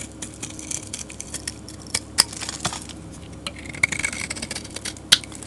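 A metal utility blade scrapes shavings from a solid, dark grey rectangular soap bar with glitter patches, held in the hand. The result is a steady, bright, crackly scraping made of many quick, dry ticks, with a few sharper clicks standing out near 2.2 and 5.1 seconds.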